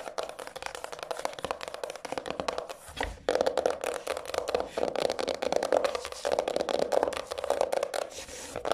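Long acrylic nails scratch and tap along the spine and across the textured printed cover of a decorated, medium-sized, solid hardcover journal with a paper-covered cardboard cover, lying on a table. Dense, rapid, dry scratching is heard with quick clicky taps and a steady mid-range tone near 600 Hz, with almost no low end. The sound grows louder and busier after about three seconds, and each tap dies away almost instantly.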